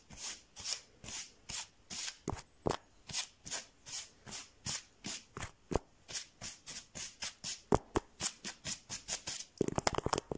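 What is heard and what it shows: Fingertips and nails scratch and tap the textured surface of a large, flat, soft but solid blue foam mat of the yoga or camping style. A steady series of short, breathy scratching strokes gives a soft, bright hiss with little low end. The clip ends in a quick flurry of sharper, rapid taps.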